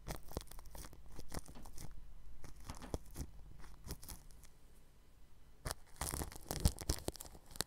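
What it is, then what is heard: Plastic cling film over a microphone, brushed. A red-handled bristle paintbrush rubs and brushes across the grille of a round white microphone wrapped in clear plastic cling film. It makes close, crinkly, scratchy strokes in quick bright bursts. A steady low hum sits underneath, with a denser flurry of brushing near the end.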